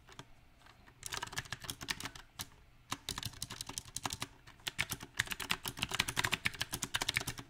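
Fingertips type on a backlit compact mechanical keyboard with round, typewriter-style plastic keycaps on a silver metal frame. Bright, sharp key clicks come in uneven bursts with short pauses between them, and the typing grows faster and denser toward the end.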